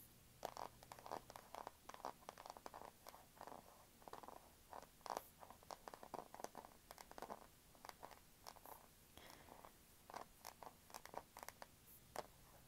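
Long acrylic nails tap quickly on the back and edges of a small, thin, solid Kindle e-reader with a matte black plastic back, held in both hands. The result is a steady stream of fast, dry, hollow clicks and taps centered in the midrange, each dying away almost instantly, with some light scratchy sounds between them.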